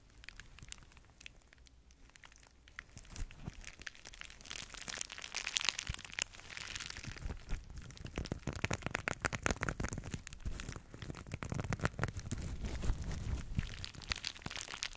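A small flat zippered pouch covered in gold and black sequins is held in both hands while fingertips and nails rub and scratch across the sequins. The result is a dense, crinkly crackling that starts quiet and grows louder and brighter, with rapid sharp ticks over a low rumble.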